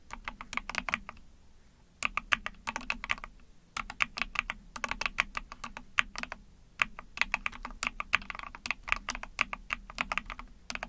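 Fingertips with long painted nails rapidly tap the plastic keycaps of a small 44-key ABS plastic mechanical keyboard, an Epomaker TH40. Quick bursts of bright, dry clacks centred around 2.3 kHz come in runs separated by short pauses near 1.5, 3.5 and 6.5 seconds. There is little low end and each click dies away almost instantly.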